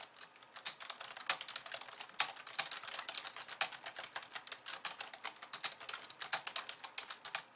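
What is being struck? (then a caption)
Plastic computer keyboard. Long polished nails and fingertips type rapidly with both hands on a compact pink and white plastic keyboard resting on a wooden desk. A dense, steady stream of sharp, bright plastic clicks and taps follows, with no low-end thump. Each keystroke dies away almost instantly.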